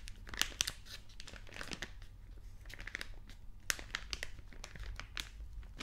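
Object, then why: Plastic-film snack bag. A small, orange, printed plastic-film snack packet, hollow, apparently sealed and partly filled, is held in both hands and squeezed and rubbed with the fingertips to make it crinkle. Sharp, bright crackles and crinkles come in quick, irregular bursts over a steady low hum. Each crackle stops almost instantly with no ring.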